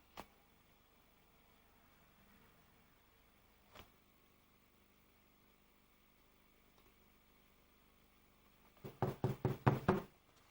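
A baker knocks on a loaf of bread taken from the oven: two faint, isolated taps are followed by a quick run of dull, low thuds with almost no ring. The loaf is judged underbaked because it was checked a bit too early.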